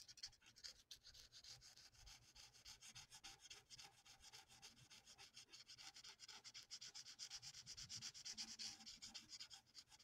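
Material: Paper.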